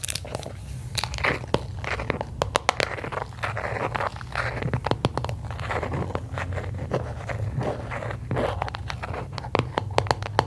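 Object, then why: Small round aluminium cream tin. Long acrylic nails tap and scratch the lid and sides of a small, round, blue aluminium Nivea creme tin, likely filled with cream, held in both hands. Quick, sharp, bright clicks with almost no ring mix with softer crinkly scratching over a steady low hum. The taps come in dense, irregular bursts throughout.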